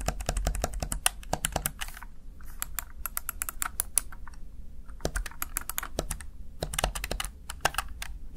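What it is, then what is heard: Plastic gaming keypad. A small, hollow, backlit plastic Razer Tartarus Chroma gaming keypad has its keys pressed rapidly with fingertips and long nails, producing bursts of sharp, bright plastic taps and clacks. Each tap dies away almost instantly over a faint low rumble, with brief pauses between the flurries of typing.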